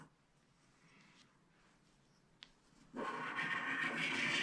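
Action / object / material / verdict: scrape / wax-coated paper scratch-art card scraped with a wooden stylus / coated paper / none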